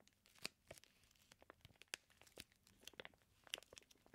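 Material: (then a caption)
Plastic film. Fingertips rub and press the crinkly clear plastic sealing a flat package of raw bacon slices. The result is a quiet, bright crinkling with a rapid run of sharp, short crackles and snaps over a soft hiss, with almost no low end.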